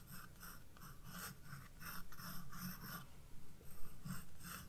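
A graphite pencil, held by a hand with red nails, scratches sketch lines onto the white page of a spiral-bound paper sketchbook on a wooden desk while the other hand steadies the book. Quick, uneven scratchy strokes repeat in short bursts, with a bright papery rasp over a soft low hum.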